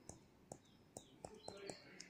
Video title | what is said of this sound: Teacher Revati -Activity for Kids | it is very hard can you hear I'm tapping on it